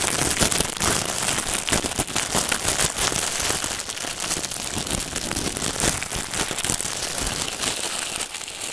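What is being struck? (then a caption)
Plastic film wrapping. Fingertips scratch, pick and rub at the clear plastic film wrapped around a long white packaged bundle on a table, producing a steady, dense crinkling and crackling. The sound is bright and hissy, with many quick sharp clicks layered over a continuous rustle for the whole clip.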